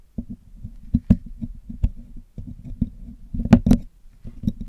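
A thin metal pick is poked into and scraped along the holes of the hollow black metal wire-mesh grille of a Blue Yeti microphone held in one hand. The result is a dense run of low, hollow clicks and scratches with a ringing tone near 230 Hz. Sharper taps and brief bright ticks spike above it.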